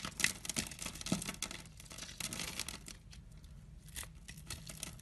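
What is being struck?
Glycerin soap bar.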